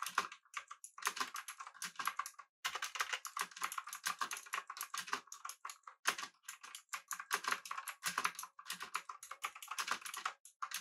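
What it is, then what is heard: Mechanical keyboard being typed on. Both hands type rapidly with their fingertips on a pink-backlit, full-size, typewriter-style mechanical keyboard with an aluminum body and round plastic keycaps, resting on a desk with a mouse sitting idle beside it. A dense, steady stream of sharp, bright clacks comes in quick bursts with brief pauses, each keystroke short and dry with almost no low end.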